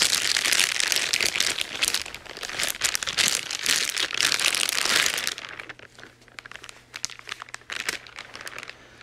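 White-gloved fingers crumple and rub a thin clear plastic wrapping bag around a grey cable, making dense, bright crinkling for about five seconds. The handling then eases into quieter, scattered crackles and rustles, with a faint low hum underneath, until the end.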